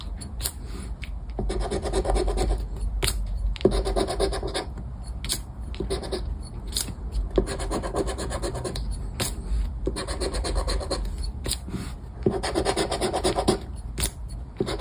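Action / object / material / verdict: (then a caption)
scrape / paper lottery scratchcard / paper / none. A round black plastic scraper scratches the latex coating off a flat paper lottery scratchcard on a wooden table while the other hand holds the card. Fast, uneven rasping strokes come in bursts with short pauses between them, over a steady low rumble.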